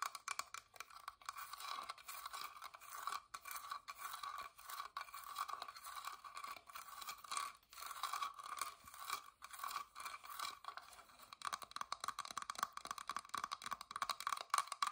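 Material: Wood.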